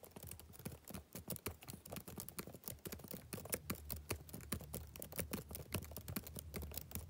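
Fingertips type rapidly on the plastic keys of a backlit laptop keyboard. A steady stream of quick, dry taps with short, irregular spacing; each key gives a soft low thud and a bright click that dies away almost instantly.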